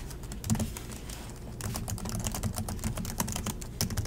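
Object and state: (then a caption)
Plastic laptop keyboard. Both hands type continuously with their fingertips on the plastic chiclet keys of an Acer laptop keyboard. A rapid stream of short, dry taps and clicks with bright edges and a low thudding body pauses briefly near the one-second mark, then resumes denser and louder.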